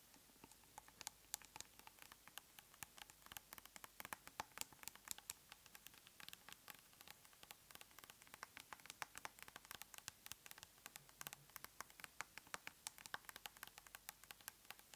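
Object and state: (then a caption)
Plastic cosmetic tub. A large round plastic tub of aloe soothing gel is held up while long nails tap rapidly on its lid and side. Quiet, dry, bright clicks patter in a steady, uneven stream for the whole clip, each one sharp and ending instantly with no ring over a faint hiss.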